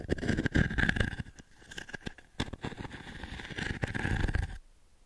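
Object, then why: Wooden pin brush. Long nails rake across the dense pin grid of a small octagonal wooden pin brush held in the palm. The result is a rapid, irregular run of scratchy clicks and crackles, with a steady ringing tone near 1.7 kHz over a heavy low rumble. The sound swells and fades in bursts, then stops abruptly just before the end.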